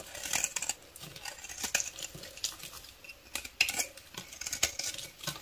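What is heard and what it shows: A solid pale beige bar of soap held in the palm is scraped and shaved with a metal utility knife blade, sending curled shavings off the bar. Quick, dry scratching strokes are heard, bright and crisp with almost no low end, each dying away almost instantly. Some strokes stand out louder and sharper than the rest.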